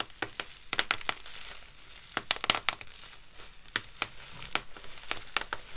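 A clear plastic bubble wrap sheet of hollow air bubbles is bunched, crumpled and rubbed by gloved fingertips and palms. It gives dry, bright crinkling and squeezing, with many sharp crackles and pops over a steady rustle. The sound is mostly high with little low end, and each snap dies away almost instantly.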